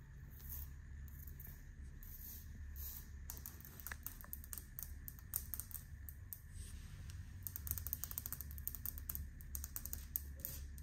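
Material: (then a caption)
Ceramic. Long painted fingernails scratch and tap a large, flat, solid grey speckled stone-look ceramic floor tile with grout lines in a hotel bathroom. Quiet, dry, bright clicks and scratchy ticks come in quick, irregular bursts over a steady low hum, each tap stopping short with no ring.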